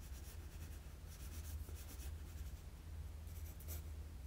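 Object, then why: Graphite pencil on a sheet of drawing paper. A wooden graphite pencil rubs and shades lines on a flat sheet of drawing paper, making soft, scratchy strokes with high, bright bursts over a low steady hum. The scratching comes in repeated short sweeps at a quiet, even level throughout.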